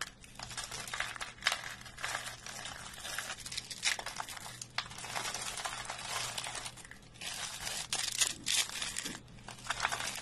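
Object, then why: Soap curls crushed by hand. Fingers break flakes off rolled curls of dry, brittle green soap on a wooden surface, then squeeze and crush the rolls by hand. Dense, bright crunching and crumbling crackles run through the clip in bursts, each crack dying away almost at once, with brief quieter pauses between squeezes.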